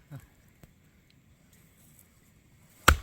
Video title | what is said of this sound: #지리산에서 놀자12(장작패기,땔감마련) | 이게 똥똥 소리가 나는데. 그러니까 진짜 어려운 거라 그 나무 자체가